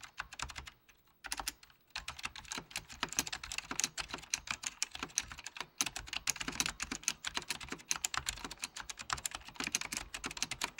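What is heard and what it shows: Fingertips of both hands type steadily on a full-size beige plastic Apple Extended Keyboard II with mechanical key switches, under red-blue lighting. Rapid, bright, crisp clicks with almost no low end follow a brief pause near the start, then run on in a dense, uneven rhythm.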